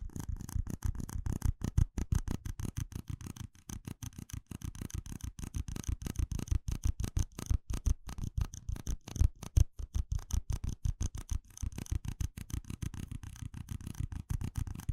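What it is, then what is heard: Plastic cups tapped and scratched. Fingertips and nails tap and scratch a stack of small, hollow red plastic cups in a rapid, uneven stream of short, dry knocks. The taps carry a deep, hollow thump with faint scratchy rustle above, and each one dies away almost instantly.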